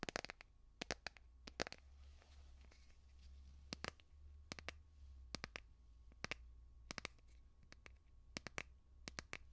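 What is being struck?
Plastic phone case on a smartphone.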